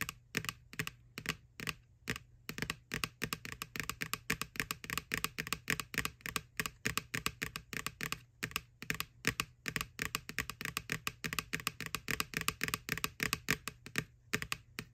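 Long nails tap rapidly on the printed side wall of a white, hollow plastic McBoo Halloween bucket. The taps come as a fast, uneven stream of short, dry, bright clicks with almost no ring, over a faint steady low hum.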